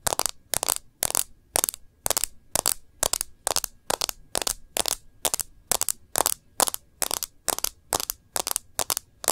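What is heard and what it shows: Long nails tap and trace along the edge and screen of a smartphone in a plastic bumper case. A steady, even run of short bursts of crisp, bright clicking and scratching comes about twice a second, with almost no low end and no ring after each burst.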